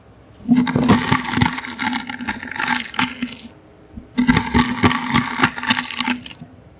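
A toothbrush's bristles scratch across a small, hollow, brown woven wicker basket held in the hand. Two bursts of dense, crackling, bright scratching are heard, each lasting about two to three seconds with a steady low hum underneath, separated by a short quiet pause.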